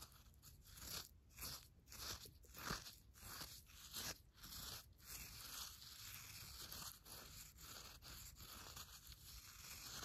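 A red pen digs and scratches through damp, used brewed coffee grounds in a paper filter. The result is a series of close, gritty crunching and scraping strokes with a papery rustle, bright and hissy in tone, repeating at an uneven pace across the clip.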